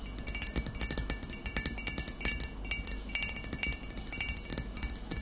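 Short fingernails of both hands tap quickly on the shoulder and sides of a full glass vinegar bottle of amber liquid with a green label. The result is a dense run of bright, glassy clinks. Each tick rings only briefly over a faint low background hum.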